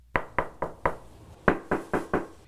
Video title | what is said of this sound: [뉴스데스크] 다시보기 (20/06/12/금) | 접착제가 잘못된 탓인지 타일 틈새가 벌어져 있거나 두드려 보면 이렇게 속이 텅 빈 소리가 납니다